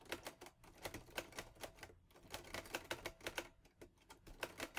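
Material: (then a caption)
Metal. Fingertips type on the keys of a mint-green Olivetti Lettera 22 portable manual typewriter with a metal body and paper loaded. A quick, uneven run of sharp, bright metallic clacks is heard, each dying away almost at once, with brief pauses between bursts.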